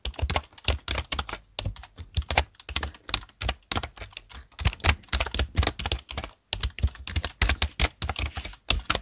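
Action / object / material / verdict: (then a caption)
tap / plastic computer keyboard / plastic / none. Fingertips type rapidly on the plastic keys of a black plastic desktop keyboard. The result is a steady run of short, clicky key taps, each with a low thump and a bright clatter, broken by brief pauses.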